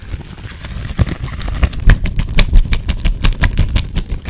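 A thin blue nitrile glove, held loose in the hands rather than worn, is crumpled, crinkled and rubbed between the fingers and fingertips. The result is a quick, irregular run of short crackling snaps over a low, muffled rustle.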